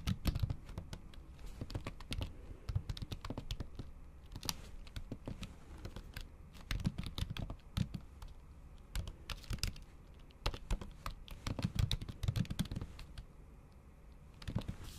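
Typing on a MacBook Pro keyboard, its plastic keys under a thin pink patterned silicone cover, struck with the tips of long acrylic nails. The result is a steady run of short, dull, muffled taps with bright clicky edges, bunched into quick bursts and brief pauses over a low background hum.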